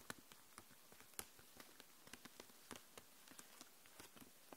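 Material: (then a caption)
Plastic. Long nails tap and scratch across the plastic barrels of markers packed in a clear plastic case lying flat. About fifteen quiet, sharp clicks ring out over a soft scratching hiss, each dying away almost instantly with a bright edge.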